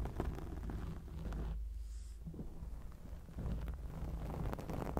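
Long acrylic nails scratch and rub a round grey foam windscreen covering a microphone. The result is a dense, muffled, low rumbling scrape with crackly bursts, continuing without a break for about five seconds.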